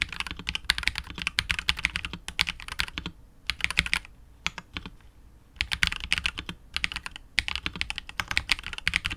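Continuous fingertip typing with both hands on a KBD67 Lite R2 65% mechanical keyboard with KTT Wine Red switches, PBT keycaps and a hollow, clear translucent polycarbonate case. It gives rapid, bright, short clacks centred around 2.2 kHz, with brief pauses near 3 and 4–5.5 seconds before the typing resumes.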